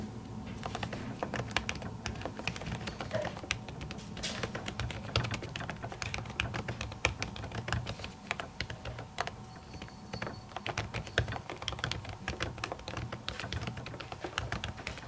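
Long natural nails type steadily on an aluminium laptop keyboard with plastic keys covered by a printed silicone skin. The result is a dense, fast stream of short, dry, bright clicks and taps that die away almost instantly, over a steady low hum.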